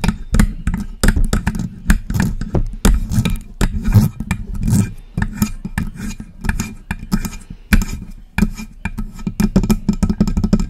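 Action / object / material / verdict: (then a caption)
tap / metal desktop microphone body / metal / none. Long press-on nails tap and scratch the hollow body of a silver metal USB desktop microphone. Quick, irregular clicks and taps land over a heavy, boomy low thump. Brief scraping rasps run between them, and each hit dies away almost instantly.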